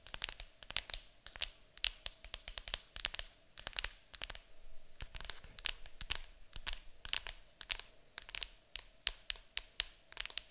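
Long acrylic nails tap and scratch across the lid of a large, hollow, printed cardboard board game box. Rapid, crisp, bright clicks mix with dry, papery rasps that die away instantly, over a faint steady hum in a quiet space.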